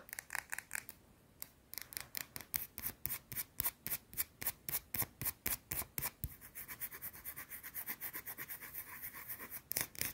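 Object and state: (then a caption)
Soap bar scratched with fingernails. Long teal-painted nails scratch fast across a small round solid white soap bar held in the hand. The result is a rapid run of short, bright, scratchy strokes, about four per second, with a brief pause early on and softer, denser strokes in the later part.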